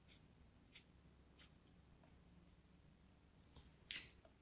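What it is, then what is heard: Kinetic sand cut with a knife. A small, solid blue chunk of kinetic sand is held in the fingers and cut and scraped with a pointed metal craft knife. Several faint, crisp, high, short scratchy cuts are heard over a quiet low hum. The loudest, brightest scrape comes near the end.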